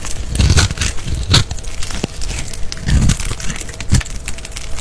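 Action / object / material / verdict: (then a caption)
scrape / bar of soap / soap / none. A small green-handled blade scores and scrapes a solid, palm-size, rectangular green-and-white striped bar of soap held in the hand, and cubes crumble off. Dense crackling and crinkling scrapes come in bursts, with soft low thumps under brighter, crisp crumbling.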